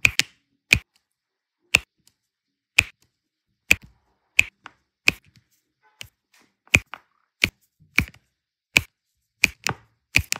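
A pink plastic multi-placer tool taps and presses small solid turquoise resin diamond-painting drills down onto an adhesive canvas, in a dense area of drills. The result is a series of short, sharp, bright clicks at uneven intervals, each with a crisp high tick centered around 2.5 kHz and almost no ring, separated by near silence.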